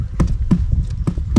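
Footsteps on an icy ground crust that has cracked underfoot and sounds hollow. Each step lands as a dull, low, hollow thud with a brief crunchy attack and almost no ring. The crust is hollow beneath the surface.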